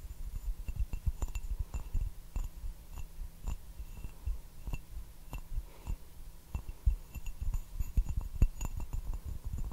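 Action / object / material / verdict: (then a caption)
tap / glazed ceramic teacup / ceramic / none. Fingertips and fingernails tap the base and sides of a small, hollow, turquoise glazed ceramic teacup with a white floral pattern, held upside down and empty. The result is a steady, irregular patter of soft, dull taps, mostly low and thumpy, with faint, bright, short clinks that die away almost instantly.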